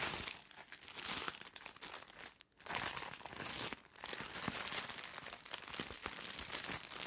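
A soft package sealed in thin plastic film is held close to the microphone and crinkled and scratched with long nails. The result is a dense, bright crinkling and crackling texture with scattered sharp clicks, broken by a brief near-silent pause midway before resuming.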